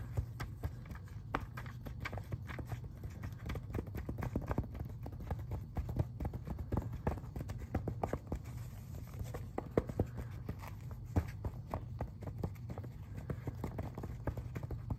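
Fingertips rapidly tap and scratch on the glossy printed pages of an open paper magazine held upright. Quick, dense, dry clicks and scratchy ticks sit over a steady low hum.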